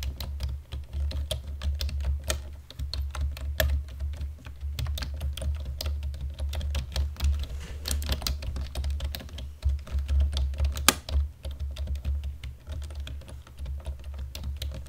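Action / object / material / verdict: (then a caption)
tap / plastic computer keyboard / plastic / none. Fingertips on both hands lightly press the keys of a black plastic computer keyboard in steady, continuous typing. Quick, short clicks and taps patter over 15 seconds, with a few sharper, bright clacks standing out, above a constant low hum.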